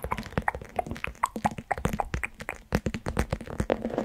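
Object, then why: Plastic pouch filled with gel beads. Long pointed nails of both hands continuously tap and scratch a small, squishy plastic orbeez gel-bead pouch resting on top of the microphone. Rapid, close taps and soft plopping thuds with a low-heavy body mix with brief squelchy clicks and light scratchy rustles. Each hit dies away almost instantly.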